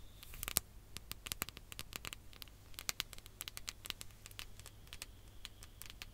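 Long nails and fingertips tap quickly on a ribbed glass hourglass, partly filled with sand, held close to the mic. The result is a quiet, irregular patter of sharp, bright clicks that stop dead without ringing. A faint low hum runs underneath.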